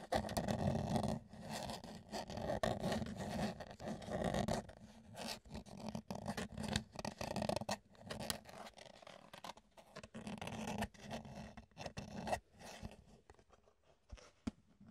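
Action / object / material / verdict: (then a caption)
scrape / plastic food container / plastic / none. An empty, hollow, rectangular clear plastic food container is turned in the hands while fingertips scratch and scrape its surfaces. The result is dense, dry scratching with a hollow mid-range tone and sharp plastic clicks and crackles. It is loudest in the first few seconds, then grows sparser and quieter, ending in scattered light taps.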